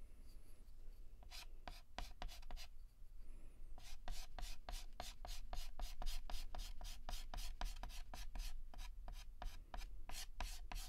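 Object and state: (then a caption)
Chalk scratching on a chalkboard. Fingertips hold a yellow chalk stick and shade a petal on a flat, solid black chalkboard with rapid short scratches. Quick, bright, dry strokes repeat in a steady rhythm, pausing briefly early on, over a constant low hum.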